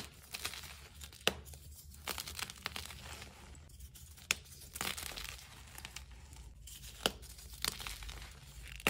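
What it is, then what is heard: Gym chalk chunks crumbled by hand. Bare hands with nails squeeze and crumble solid chunks of green dyed gym chalk, mixed with crumbled powder and glitter, between the palms over a tub. Dry, crunchy crumbling and soft, bright crinkling run throughout, broken by sharp crisp snaps as pieces break apart, over a faint low steady hum.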